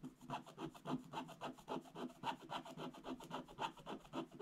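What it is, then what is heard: Scratch-art paper scratched with a wooden stylus. A wooden stylus rubs and scratches large areas of a black coated scratch-art paper page with back-and-forth strokes. A steady, rhythmic, dry rasping repeats at about three to four strokes per second, each stroke a short scratchy swell with a faint bright hiss over it. The sound stays quiet and even throughout, with no ring after each stroke.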